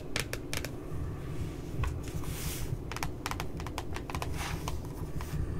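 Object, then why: Spiral notebook with glossy cardboard cover. Long nails tap on the lower part of a glossy cardboard cover of a puppy spiral notebook. Quick, sharp, bright clicks come in uneven bursts over a steady low rumble, each tap dying away almost at once.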